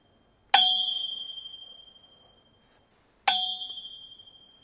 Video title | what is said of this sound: Filling Speaker Stands with SAND - Sound Demo | it's ringing from the 2 to 4 kHz range, which is a sensitive region for the human ear